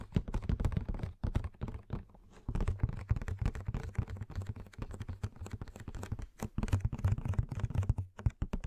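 Long painted nails and fingertips tap and scratch a hollow, roughly 15 cm tall Madame Maxime Funko Pop box of printed cardboard with a clear plastic window and the figure inside. The result is a rapid, dense run of soft, dull, low-pitched taps with no ring and a brief lull near two seconds.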